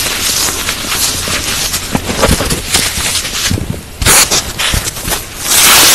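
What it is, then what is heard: Dry floral foam being crushed. Bare hands squeeze, crush and rub broken blocks and crumbs of dry white-grey floral foam (phenolic foam), a light porous solid, piled in a large pale plastic bowl. A steady bright, crackly crunching runs throughout, with louder sharp crumbling bursts near the end as the foam breaks apart.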